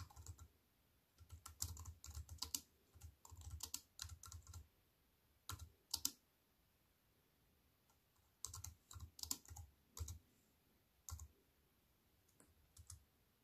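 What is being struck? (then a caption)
Plastic computer keyboard with aluminium frame. Long white-painted nails and fingertips tap the black plastic keys of a compact wireless keyboard with a thin silver aluminium frame, resting on a wooden table. Bursts of quick, bright clicky keystrokes with a soft low thump come in irregular runs, separated by short quiet pauses, and each click dies away almost instantly.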